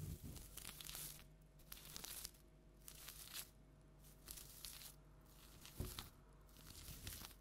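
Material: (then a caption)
Plastic tinsel. Long nails scratch across a large orange plastic tinsel jack-o'-lantern decoration, producing bright, rustling crinkles and tearing-like scrapes that come in repeated bursts over a steady low hum.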